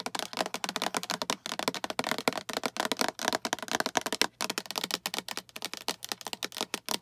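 Long acrylic nails tap and scratch the walls and lid of a small, hollow, translucent green plastic storage box with a latch handle that appears empty. Rapid, continuous bright clicks and dry scratches follow each other with almost no ring and very little low end.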